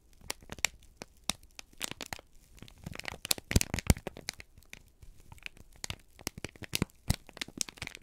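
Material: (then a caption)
Paper. A folded, crinkled sheet of brown kraft paper is held in both hands and squeezed and crumpled with the fingertips. It produces a steady stream of dry, sharp crackles and crinkles, with bright snapping bursts rising above softer rustling. The crackles stop instantly, leaving no ring after each one.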